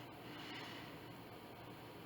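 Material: Nothing is struck.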